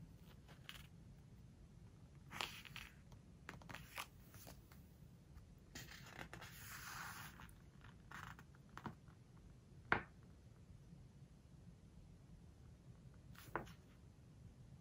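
Flat hands and long nails rub and scratch across the spread of a large open hardcover book with glossy paper pages lying flat. Quiet, papery swishes and scratches come in short bursts, with a longer bright rub near the middle and a few sharper ticks standing out, over a low steady background rumble.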